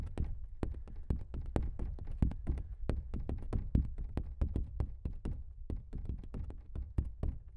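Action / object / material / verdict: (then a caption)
tap / stretched canvas print / canvas / none. Fingertips of both hands tap quickly on the surface of a large stretched canvas print that is hollow behind. A steady run of quick, soft, drum-like taps sounds, each a short low thud with a faint bright tick on top that dies away almost at once.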